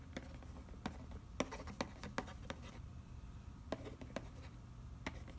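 Fingernails scratch and trace over the printed back of a hollow cardboard macaroni and cheese box, across the nutrition panel. Quiet, dry scratching is broken by short, sharp ticks and taps that spike bright and die away almost instantly, over a steady low rumble.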